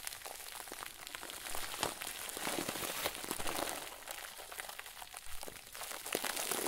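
A head-sized round white plastic bag, tied at the top and stuffed full of crinkly filling, is squeezed and crumpled by one hand's fingertips over a wooden table. It makes a steady, dense crinkling of bright, rapid crackles that swells and eases in soft waves throughout.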